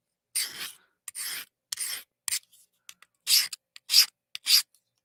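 A softer-steel knife blade is scraped across a diamond sharpening plate in a series of short, bright, rasping strokes with small clicks between them and almost no low end. The soft steel sounds mushy, as if the diamonds are gouging into it, a cue like the file test used to judge whether a heat treat is good.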